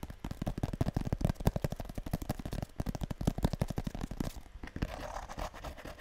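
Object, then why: Small printed cardboard box. Long nails rapidly tap and scratch the surface of a small, hollow blue printed cardboard box, the kind a perfume or cosmetic comes in, held close to the mic. Quick, dull, low hollow taps run in a dense stream for the first few seconds, then give way to a softer, brushing scratch toward the end.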